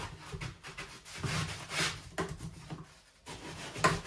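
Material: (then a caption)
Plastic. A gloved hand scrubs the slotted plate section of an empty white perforated plastic dish drying rack with a sponge while the rack is held upright on the drainboard. The result is soft, broadband rubbing and scrubbing strokes that swell and fade, with brief pauses and a sharp tick near the end.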